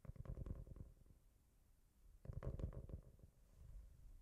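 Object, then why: Cork-covered notebook. A solid, roughly A5 cork-covered notebook with a brown speckled cover is held in both hands and scratched and tapped with fingertips and nails. Two bursts of soft, low, muffled taps and scratches are heard, carried by an echo effect. The sound is quiet and boomy, with little brightness.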